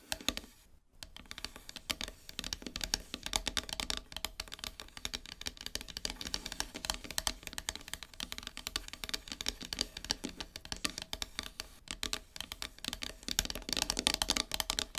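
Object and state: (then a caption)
Painted wooden plaque tapped and scratched with nails. Long silver-polished nails tap and scratch the surface of a flat, solid, heart-shaped wooden plaque painted matte black, lying on a fabric surface. After a brief pause near the start, a dense stream of rapid, bright, dry clicks and scratches continues, each dying away almost instantly with very little low end.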